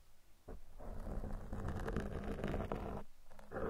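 Two metal tweezers are pressed into and scratched along the sides of a black foam microphone cover. This produces a close, muffled, rumbling scratch that is heavy in the low end with almost no bright content. It swells into a dense, continuous crackling rub, briefly drops away near the end, then returns.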